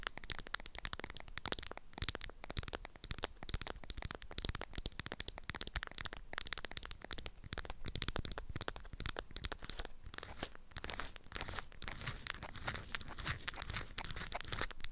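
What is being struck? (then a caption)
Beeswax-coated cotton wrap around a small package. A hand-sized rectangular package wrapped in beeswax-coated cotton with a lemon print is held in both hands while long acrylic nails tap and scratch the waxed fabric. The result is a dense, continuous stream of quick, dry, crackly taps and scratches with no ringing.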